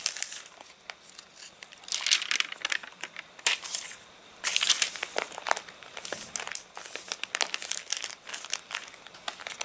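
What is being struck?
Paper catalogue pages.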